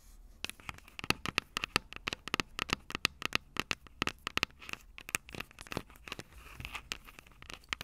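Long purple nails scratch and tap the metal microphone capsules of an upright Tascam DR-05 recorder. The result is an irregular run of dozens of sharp, dry clicks and scratchy crackles, bright with a ringing tone near 2.6 kHz and almost no low end, each tap stopping instantly.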